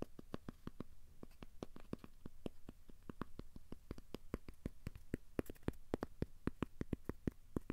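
Fingertips tap and scratch a thin, solid, square cork coaster held in both hands, working over its surface and edges. A steady run of quick, dry, soft taps with almost no ring sits over a faint low scratching rustle, staying quiet throughout.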